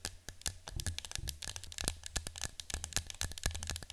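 Long nails tap and scratch the side of a yellow cylindrical cardboard citronella canister resting on a table. Rapid, dry clicks and scratchy crackles come in a quick, uneven stream, each with a bright edge over a soft low thud and almost no ring.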